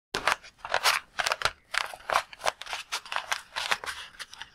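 Fingertips squeeze and tap a palm-sized, red-and-white latex balloon full of water, held in both hands. A quick series of crisp, crackly squishes and taps sounds, bright and high with no low rumble, each ending almost instantly.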